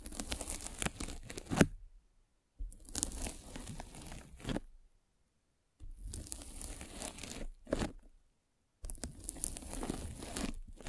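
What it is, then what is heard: Foam mesh net scratched with a spiked roller. A metal-spiked derma roller is rolled over a white polyethylene foam mesh net wrapped around a microphone. Four bursts of dense, crackly scratching and tearing, separated by brief silences, each pass ending with a louder crunch.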